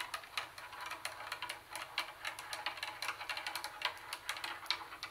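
Long nails tap the plastic CD lid of a hollow Sony CFD-101 plastic CD cassette boombox, then scratch and tap its plastic carry handle. A quick, uneven run of dry, bright clicks and light scratches follows, each tap dying away almost instantly with no low-end body.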